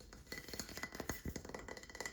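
Fingers tap quickly on a plank of wood that has artwork painted on one side. It makes a fast, irregular series of short, dry knocks with a faint bright ring near 2 kHz. Each tap dies away almost at once.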